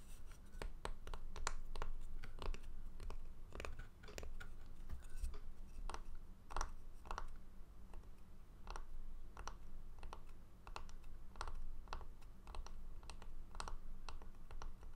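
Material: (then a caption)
Wood. A small, solid round slice of tree branch with bark on its edge is held in both hands over a wooden tray while fingernails scratch and tap its cut face. Quiet, rapid dry clicks and short scratching strokes repeat steadily throughout, with a woody tone around 1 kHz over a faint low hum.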